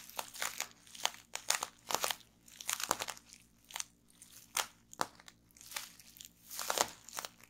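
Rolled clear plastic bubble wrap rests on a wooden table while both hands press fingertips and nails into the bubbles, popping them. Sharp, bright crackling pops and crinkly plastic rustles come in irregular clusters, with short quiet gaps between the bursts.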